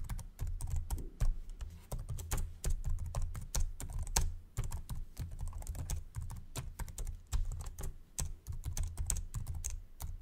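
Fingertips type slowly on the plastic keyboard of a white Samsung laptop, producing a steady run of short, dry key clicks with bright, crisp edges. A constant low hum of about 60 Hz sits underneath the tapping throughout.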